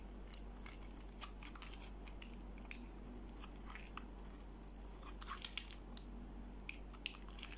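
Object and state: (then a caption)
Bar soap scraped with a blade. A solid, dry pink bar of soap held in the hand is scraped with a utility-knife blade, shaving crunchy curls onto a pile of pink flakes. The sound is a quiet run of quick, bright scratchy crunches over a steady low hum.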